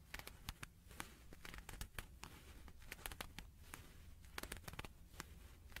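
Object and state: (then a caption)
Leather gloves crinkling. A pair of shiny silver-grey leather (possibly faux leather) gloves, worn on both hands, is held in the air on either side of a microphone without touching it while the fingers flex and rub. The glove material crinkles and scratches against itself in quick, sharp, bright clicks and crackles over a soft, low background hum. The sound is quiet and close, and each crackle stops almost instantly.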